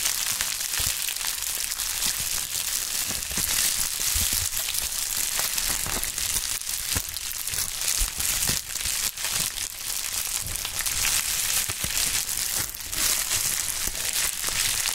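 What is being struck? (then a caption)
Plastic bubble wrap sheet. A pink plastic bubble wrap sheet is squeezed and crumpled by gloved hands low over a mat. A steady, dense, bright crinkling and crackling runs throughout, with sharp snapping pops scattered through it and a faint low thump now and then.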